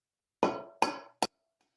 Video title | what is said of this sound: Culinary Institute of Piccadilly: Chocolate Banana Muffins! | you're going to tap it until you hear a crack